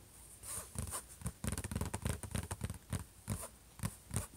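Fingertips and short nails on both hands tap and scratch across the closed lid of a silver HP laptop. The result is a quick, irregular run of dull, low knocks mixed with bright, rough scratching. Each sound dies away almost at once.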